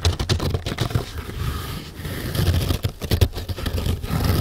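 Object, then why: Stack of nylon scouring pads. Long nails scratch fast across the top of a stack of four flat green nylon scourer pads, soft, fibrous and porous, resting on a carpeted table. The result is a dense, continuous run of rapid rasping scrapes with a heavy low, muffled thump under each stroke and only faint bright texture.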